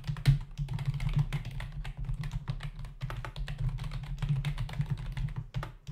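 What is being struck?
Plastic membrane computer keyboard.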